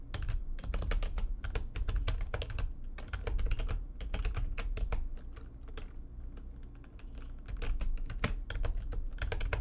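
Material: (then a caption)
Plastic. Fingertips with long nails type fast on the keys of a full-size, low-profile, backlit plastic computer keyboard resting on a desk. Rapid, dense streams of short, sharp clicks and taps come in quick bursts with brief pauses, over a steady low hum.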